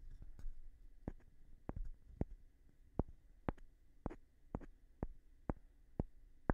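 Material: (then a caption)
Wood. A light-colored, palm-sized solid wooden block, held in one hand, is tapped on its face with a small rough stone held in the other hand. Eleven short, dry, quiet taps come at an uneven pace, each dying away almost at once, with a soft low rustle between them.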